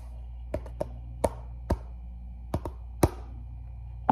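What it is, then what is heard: Fabric sneaker tapped with fingertips. An empty red and black athletic sneaker with a mesh fabric upper, black laces and a rubber sole is tapped and rubbed with the fingertips close up. Eight short, dull, irregular taps are heard over a steady low hum.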